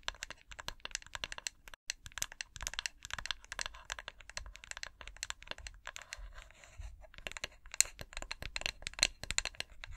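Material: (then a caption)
Glass. Long acrylic nails scratch and tap along the side of a medium-sized white glass three-wick candle jar with a printed snowflake design and a metallic lid rim, held in both hands. A rapid, steady stream of crisp, bright clicks and scratchy taps is heard, each dying almost instantly. A short stretch of smoother scratching comes just before the tapping picks back up.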